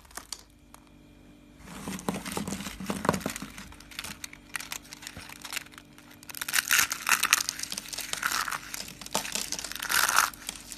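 Small hollow cream and brown curls of dry soap are squeezed in cupped hands and crushed into crunchy flakes. After a near-silent start, dense bright crackling and crinkling builds, swelling into louder crunching bursts toward the middle and end.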